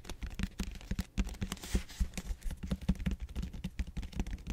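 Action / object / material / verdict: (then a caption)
scrape / expanded polystyrene foam roller / styrofoam / none. Fingertips scratch and rub across the bead-textured flat round end face of a large purple expanded polystyrene (styrofoam) back roller. The result is a rapid, uneven run of short, dry scratching strokes with a heavy low thump in each. Each stroke stops almost at once, with only a faint high hiss around it.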